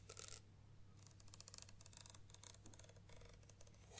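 Long nails tap along the barrel of a black Nikon 70-300mm zoom lens with a plastic body, ribbed rubber zoom ring and white rear cap, held upright over a table. A quick series of sharp, bright clicks with no ring-out sits over a steady low hum, starting in a dense burst and continuing in irregular clusters.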